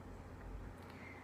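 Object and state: Nothing is struck.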